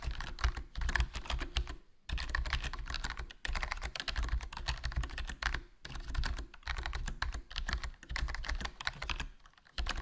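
Fingertips type continuously on a HyperX Alloy Core RGB plastic membrane gaming keyboard with a foam mod, a black plastic body, black plastic keycaps and a hollow case. Rapid bursts of soft, muffled keystrokes carry a deep thudding body and short, dry clicks, broken by brief pauses near two, three and a half, six and nine seconds.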